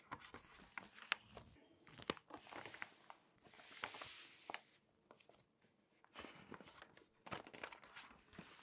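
A hand with long nails strokes and taps the pages of an open glossy paper magazine, and the pages are turned. Quiet, close, crisp crinkling and scratchy rustles with sharp little clicks sit mostly in the bright range. A longer, hissing sweep of a turning page comes in the middle, and the clip ends with more stroking and crackling.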